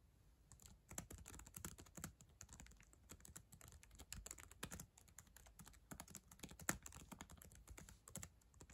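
Long acrylic nails type rapidly on the plastic keys of a black ThinkPad laptop keyboard. The result is a quiet, steady stream of sharp, bright clicks over soft low thumps, each tap dying away almost instantly, with a few louder strikes standing out.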